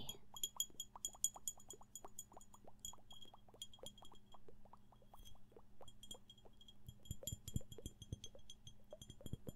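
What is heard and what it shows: Fingertips or nails tap repeatedly on a glass flask holding a homunculus, making quick, bright clinks that ring high and die away almost at once. A steady low hum runs underneath, and the tapping grows denser and louder near the end.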